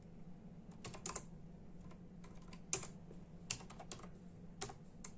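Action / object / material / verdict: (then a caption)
tap / plastic membrane computer keyboard / plastic / none. Bare fingertips of both hands tap in a steady rhythm on a full-size black and silver plastic membrane computer keyboard with hollow keys. About a dozen quiet, bright, hollow clicks stand out with very short decay. A low steady hum runs underneath throughout.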